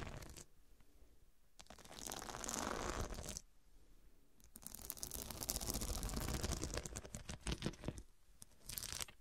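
Long dark nails scratch across the square faceted glass studs covering a fabric cushion. Heard as bursts of bright, gritty scraping and crinkly rasping with short pauses between strokes, the longest stretch in the middle of the clip.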